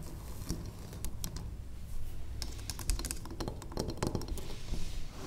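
Long acrylic nails tap on the faces of a large, square, cream-colored solid wax pillar candle. The taps come as quick, irregular, dry clicks with a bright edge that stop almost instantly, over a steady low rumble that holds through the clip.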